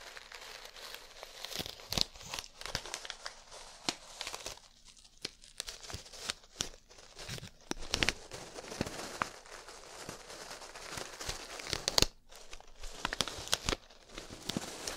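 A small clear plastic zip-lock bag full of multicolored small plastic beads is held in one hand, squeezed and tapped with long nails. Continuous bright crinkling and rustling runs throughout, broken by sharp, quick clicks and taps that die away almost instantly.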